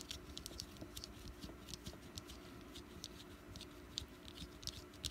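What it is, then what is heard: Wax pumpkin candle. Long nails tap around the sides and top of a small solid orange wax jack-o'-lantern candle. The taps are quiet, quick and dry, with bright clicky ticks that stop almost at once, over a low, steady rumble.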